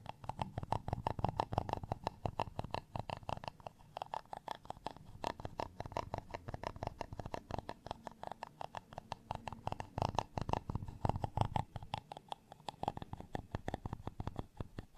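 A black tweezer-like tool scratches across the dimpled face of a flat, solid, textured beige plastic rice paddle. The result is a dense, steady run of quick, dry scratching clicks with a low, muffled body and almost no ring, continuing for the full fifteen seconds with brief shifts in intensity.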